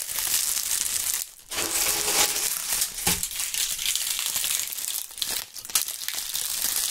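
Clusters of dry brown and purple-tinted autumn leaves are crushed and crumpled by the fingertips of gloved hands near the microphones. A dense, bright crackling and crunching runs almost continuously, with brief quieter gaps around 1.3 and 5.5 seconds.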